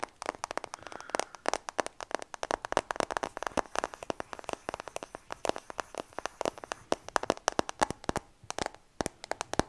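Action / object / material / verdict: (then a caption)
tap / smartphone with glass back and metal frame / glass, metal / none. A new iPhone with a glass back and metal frame, held in both hands close to the mic, is tapped quickly along its back and edges with fingertips and nails. The result is a dense stream of sharp, dry, very short clicks with a midrange tone, uneven in loudness, and a brief pause near the end.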